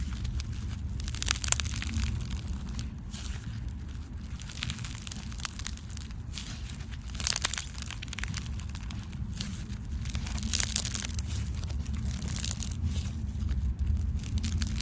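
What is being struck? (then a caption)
Glue-based slime packed with styrofoam beads. A handful of soft, solid pink glue-based slime packed with small white styrofoam beads is squeezed, kneaded, stretched and pressed by bare fingers and thumbs. Dense, bright crunchy crackling from the beads runs throughout, in irregular bursts over a steady low rumble.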